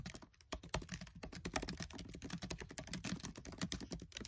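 Fingertips with short nails type fast on the black plastic keys of a MacBook Air keyboard set in an aluminium body. A rapid, steady stream of short, dry clicks and soft thumps with bright key-edge ticks blends into a continuous clatter that stops almost instantly after each press.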